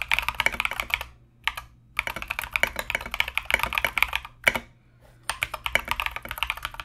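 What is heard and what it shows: A compact mechanical keyboard with Mozano EVE switches and Knight King plastic SA keycaps is typed on continuously with the fingertips of both hands. Rapid, bright clacking keystrokes come in bursts with short pauses between them, each click dying away almost instantly.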